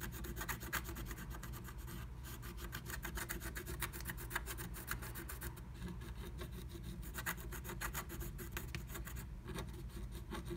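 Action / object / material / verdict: scrape / black-coated scratch art paper scraped with a wooden stylus / coated paper / none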